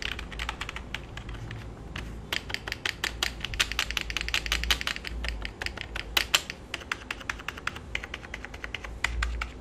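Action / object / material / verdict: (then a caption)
tap / plastic computer keyboard / plastic / none. Fingertips type on a full-size black plastic keyboard with a hollow body resting on the lap, producing a quick stream of bright, sharp clicks with almost no ring. Each keystroke snaps with a hollow plastic tone centered around 3 kHz over a low, steady rumble.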